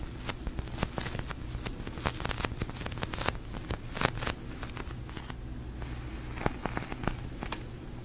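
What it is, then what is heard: Polyurethane foam squishy toy. A large, pink, glossy, sticky polyurethane foam squishy toy is held, tapped with fingertips and long nails, and squeezed. Quick, dry, crackly taps and sticky clicks sound in irregular clusters over a steady low hum.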